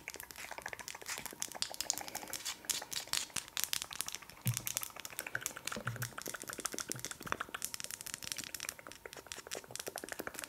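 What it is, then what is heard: Wax pillar candle. A large, solid, pale wax pillar candle with a paper label is held in the hands and tapped and scratched rapidly with long acrylic nails. The result is a dense, continuous stream of sharp, bright clicks and dry crinkly scratches that stop short, with a few slightly heavier taps adding a low thump.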